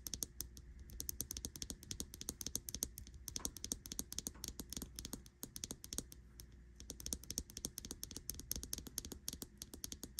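A smartwatch with a metal case, glass screen and butterfly-print silicone band lies on a bedsheet while long nails tap rapidly on the glass screen and the metal edge of the case. The result is a dense stream of sharp, bright, dry clicks over a faint low hum, with a brief pause just past the middle.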